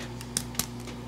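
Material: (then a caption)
Bread. A second filled mantemuerto sweet bread bun, taken from the other side of the pan and still very hot, is tapped to check doneness, giving two short, hollow taps over a steady low hum. The hollow sound shows the buns are baked through, so they are taken out of the oven.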